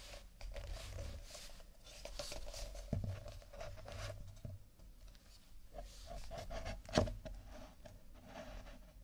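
A stack of nested, empty paper/cardboard cups is held sideways, then stood upright and handled with the fingertips of fingerless-gloved hands. Soft, dry taps and scratchy rubbing on the cardboard are heard, with a low rumble underneath and one sharper tap near the end.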